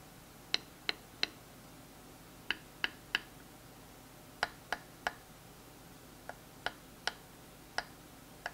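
A smooth wooden dowel taps and clicks against a thin, textured wooden stick held in the hand. Fourteen short, dry, bright clicks come in loose groups of three and four, each dying away almost at once over a quiet background.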